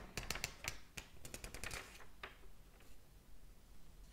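Fingers flip and fan the thin paper pages of a large open hardcover book. The result is a quick run of sharp, crisp paper snaps and flutters with a bright, papery edge, easing into softer rustling toward the end.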